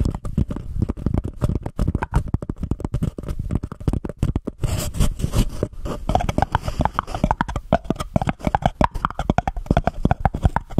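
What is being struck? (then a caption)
Paper cup. A small, empty white embossed paper cup is held over a microphone while long nails rapidly scratch and tap its sides. The result is a dense, muffled stream of low, hollow thumps and scratchy rasps with short, dry decays, and a brief stretch of brighter scraping near the middle.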